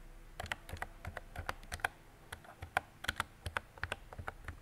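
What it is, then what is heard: Plastic mechanical keyboard typing. Fingertips with long decorated nails type on a mint-green retro mechanical keyboard with round plastic keycaps and a hollow body. About twenty quick, separate keystrokes sound as sharp clacks, each with a low hollow thump under a bright plastic tick and almost no ring. The strokes come in an uneven, steady typing rhythm.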